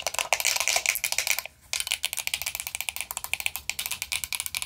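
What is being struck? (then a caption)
Metal powder compact. Long nails rapidly tap and scratch a closed, hollow, round vintage gold-tone metal powder compact with a black rose design. The result is a quick, uneven run of sharp, bright clicks and scrapes with almost no low end and very short ring, pausing briefly at about 1.5 seconds before continuing.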